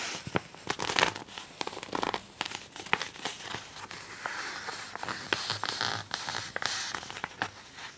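A glossy fold-out poster in a magazine is folded and then pressed flat with fingertips and nails. Dense, bright crinkling and rustling runs throughout, broken by many sharp crackling snaps, with little low end.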